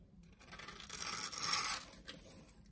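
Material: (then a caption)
Soap. A utility knife scores a grid into the surface of a solid blue soap bar and slices off cubes, giving a soft, bright, crisp scraping and shaving sound. It builds to a denser, louder cut in the middle and then tapers off quietly.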